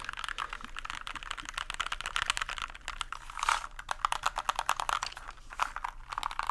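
Fingertips tap and press the keycaps of a small white compact plastic mechanical keyboard with a hollow plastic case, held tilted and upright in front of the microphone. The result is a fast, uneven run of short, dry clicks centered in the upper mids with bright edges and very little low end.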